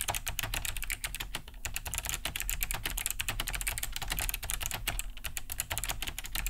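Both hands type fast with the fingertips on a large beige Cherry G80-3000 keyboard fitted with Kailh BOX White switches, with a hollow plastic case and thick plastic keycaps, resting on a wooden desk. A dense, steady stream of short, bright, clicky key-switch taps is heard, each dying away almost instantly over a low, hollow thump from the casing.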